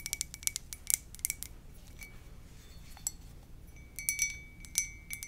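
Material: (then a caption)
Ceramic. Long nails tap the side of a hollow white ceramic mug with a lips print, making quick, bright clinks with a faint ringing tone. The taps come in rapid clusters at the start and end, with sparser, softer taps in the middle.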